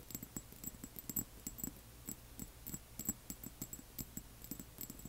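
A small amber glass serum bottle with a white plastic dropper cap and paper label, apparently filled with liquid and standing on black cloth, is tapped on its sides with the long manicured nails of both hands. About 22 quick, quiet nail taps land in an irregular patter, each a short, bright glassy tick with a soft low thud that dies away almost instantly.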